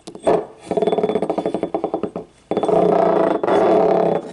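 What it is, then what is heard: Ceramic cup scratched along its ribs. Fingernails scratch along the ribs of a small, hollow, yellow ribbed ceramic paint cup lying on its side as the cup is handled. A quick train of clicking, ratcheting pulses gives way to a denser, continuous scraping with a brief pause. The sound has a mid-pitched, hollow tone.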